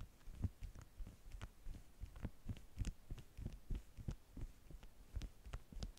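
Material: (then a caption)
Waxed cotton. Long manicured nails tap and press on the top sheet of a flat stack of yellow beeswax-coated cotton food wraps with bee prints, lying on a table with both hands resting flat on it. About twenty soft, dull taps come in an uneven, quick rhythm, heavy in the low end with faint brighter clicks. Each tap dies away almost at once.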